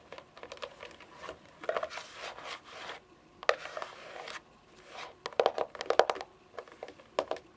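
Long fingernails drum on the top edge of a hollow, console-sized white plastic game console casing lying on carpet. Bursts of quick, light clicking taps with a hollow plastic tone mix with soft scratchy brushing between them.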